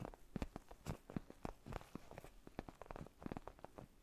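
A black padded faux-leather gaming chair neck pillow, soft and foam-filled, is held close to a fluffy microphone and scratched and tapped with fingertips and short nails. The result is a quiet, dense stream of short, dull taps and soft scratchy rustles. The taps are low and muffled with barely any ring.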